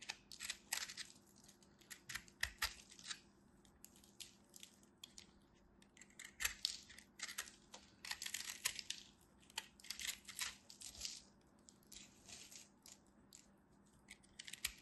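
A craft knife cuts into and scrapes the surface of a solid ball of compressed soap flakes held in the palm. The result is a steady run of short, dry, crisp crackling and scratching bursts. The sound is mostly bright, with a faint low hum underneath.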